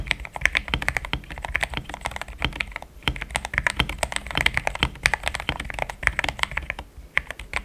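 A pink-framed compact mechanical keyboard with thick cream XDA plastic keycaps, a polycarbonate plate, linear switches and a hollow case is typed on with the fingertips in steady taps. The result is a fast, continuous run of short, dry clacks with a bright, hollow tone and a soft low thump under each press, every tap dying away almost instantly.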